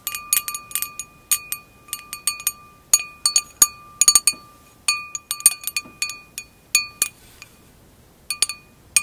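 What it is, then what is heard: Empty wine glass. Long acrylic nails tap the hollow bowl of an empty glass wine glass, tilted and held close. Quick, irregular bursts of bright, glassy clinks come with a clear ringing tone around 1.2 kHz and 2.5 kHz that lingers briefly after each tap. Brief pauses separate the clusters of taps.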